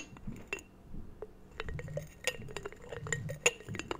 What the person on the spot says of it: tapping on this strange little ceramic jar